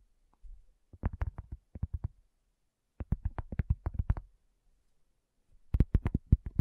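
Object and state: Cork coaster.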